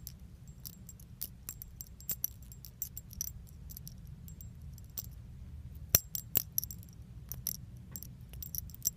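A small metal keychain with pink leaf charms is held in the fingers and shaken and jingled. Quick, bright metallic clinks and tinkles come in scattered bursts, each dying away almost at once, over a quiet low rumble.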